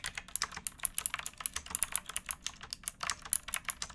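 Fingertips with painted nails type on a pink backlit plastic mechanical keyboard with round keycaps and a hollow case, resting on a wooden box. About 29 quick, bright, clacky keystrokes come in a steady, rapid stream. Each is short and dry, with almost no low end and no ring.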